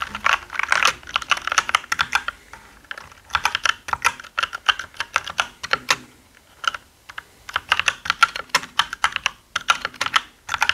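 Both hands type quickly with their fingertips across many keys of a black mechanical keyboard with plastic keycaps and a hollow body. Bursts of rapid, dry, clacky keystrokes sit in the midrange around 1.4 kHz with a bright top. They are broken by short pauses near 3, 6.5 and 10 seconds.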